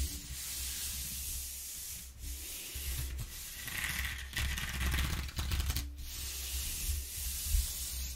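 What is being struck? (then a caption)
Corrugated cardboard sheet. A flat palm and fingers rub back and forth over the ridges of a flat corrugated cardboard sheet resting on a wooden table. The result is a continuous dry, papery scraping hiss, bright and airy up high over a low rumble, with brief dips where the strokes change direction.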